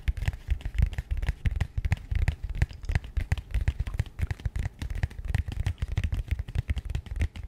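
A small, rigid, matte grey cardboard box held beside the mic is tapped and scratched with long nails. Rapid, uneven taps land as dull, low thumps that stop almost at once, over a faint, dry scratching crackle.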